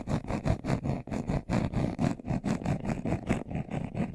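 A brown leather-covered glasses case, hand-sized, hollow and closed, is held in both hands while its surface is scratched fast with short nails and fingertips. The result is a steady run of quick, dry, low-heavy scratching strokes with a slight hollow thump and faint bright hiss on top.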